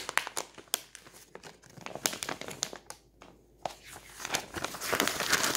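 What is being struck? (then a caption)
Glossy paper catalog. Fingertips roll, rub and flip the thin pink and purple pages of a glossy paper toy catalog lying open on a table. They make a bright, crisp paper crinkling with irregular sharp crackles and page snaps. After a brief quiet pause, the rustling builds into a denser, steady crinkle at the end.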